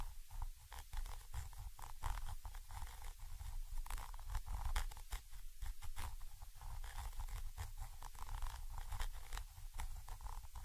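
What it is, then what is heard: Metal microphone capsule being scratched. A thin orange stick scratches from above across the small chrome metal body and mesh grilles of a Zoom H5 XY microphone capsule. The result is a steady, close, low rumbling scrape with frequent crisp crackling bursts and brief bright ticks throughout.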